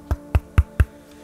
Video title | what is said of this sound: Meine Shisha Köpfe + Meine Top 5 & GEISTESKRANKER Spezialkopf | Also der ist wirklich massiv. Wenn ich dagegen klopfe, da geht eher mein Finger kaputt als der Kopf.